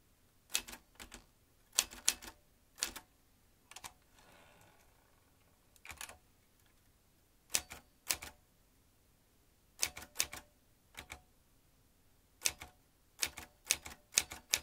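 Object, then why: Metal manual typewriter. Fingertips press the round keys of a vintage metal manual typewriter with exposed typebars and a carriage lever, typing in irregular bursts of sharp, bright clacks separated by pauses. Each strike is crisp and dies away almost instantly with very little low end, and a faint soft rustle fills one pause around the fourth second.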